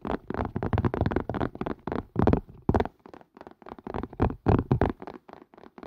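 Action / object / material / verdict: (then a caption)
tap / plastic and silicone collapsible strainer / plastic, silicone / none. Fingertips and nails tap quickly on the rim and sides of a hollow, empty green-and-white collapsible strainer made of plastic and silicone, held over the mic. The result is a rapid, uneven run of short, dull knocks with low body and some brighter clicks, each dying away almost at once.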